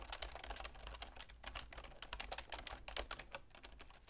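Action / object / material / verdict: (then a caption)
tap / plastic computer keyboard / plastic / none. Continuous typing with long nails and fingertips on a full-size black plastic computer keyboard with a silver plastic frame produces a rapid, uneven stream of bright, clicky taps. Each keystroke is short and snappy, and a steady low hum runs underneath.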